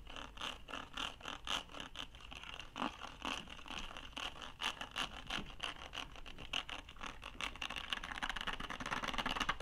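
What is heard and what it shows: Fingernails scratch and scrape along the ridged, hollow surface of a blue ribbed plastic document case. The result is a rapid series of bright, raspy scratches and strokes that speed up into a dense, continuous rasp toward the end.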